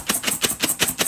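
Fried split peas (dhal) are shaken in a tightly secured lidded container to mix in a seasoning of pounded garlic, pepper and cilantro. Six quick, bright rattling bursts of crunchy peas are heard. The crisp rattle shows the peas are fried crisp and dry.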